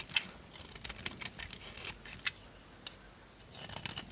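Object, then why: Bar of soap carved with a small knife. A small knife carves a solid orange bar of dry soap held in the palm, scraping and cutting to raise shavings. Crisp, bright crunching and scraping clicks come in short, dry bursts, with a few sharper snaps standing out over faint hiss between strokes.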